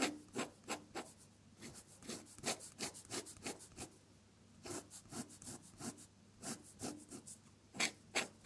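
A metal dip-pen nib scratches across a sheet of drawing paper, seen close up with the nib in contact, as it draws red petals. Short, bright, scratchy strokes come in an uneven rhythm, with a brief quiet pause midway before the strokes resume.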